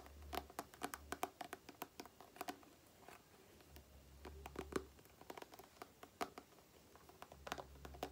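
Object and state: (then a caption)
Plastic cream tube. Long painted nails tap and scratch a small, soft, filled plastic face-cream tube with a printed surface. Quick, dry clicks come in irregular bursts over faint scratching and a soft low hum that comes and goes. Each tap dies away almost instantly, leaving a quiet, close-up texture.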